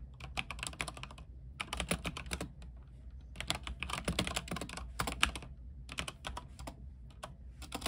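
Fingertips type at a moderate pace on a backlit mechanical keyboard with white plastic keycaps on an aluminium frame. Bright, crisp key clicks come in bursts separated by short pauses. A steady low hum runs underneath the whole time.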